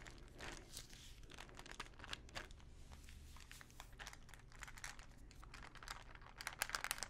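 A small plastic pill bottle full of pills, with a paper label, is scratched and tapped with long nails close to the mic. Dense bright scratching and crinkly clicks run throughout over a low background rumble, with sharper taps toward the end.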